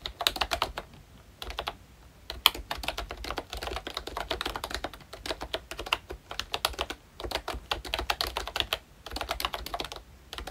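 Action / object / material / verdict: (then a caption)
tap / plastic membrane keyboard / plastic / none. A full-size Royche Disney Mickey Mouse–themed retro membrane keyboard with round plastic keycaps is typed on continuously with the fingertips of both hands. Quick, dry, bright plastic clacks come in dense bursts separated by brief pauses, peaking around 3.2 kHz with almost no ring after each keystroke.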